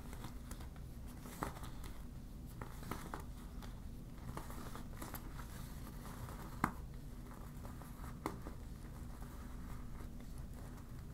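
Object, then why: Deflated vinyl beach ball. A deflated yellow vinyl beach ball is scrunched, crinkled and scratched with long black nails. Soft, dry crinkling and scratching rustle steadily over a low hum, with a few sharper clicks standing out, the clearest just after six and a half seconds.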